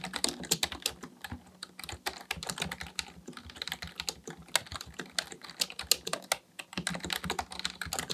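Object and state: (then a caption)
Plastic computer keyboard being typed on. Both hands type steadily with their fingertips on a black plastic full-size computer keyboard resting on a desk. The result is a rapid, uneven stream of short, crisp plastic key clicks with a bright tone and almost no ring.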